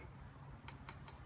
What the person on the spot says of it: although it sounds like metal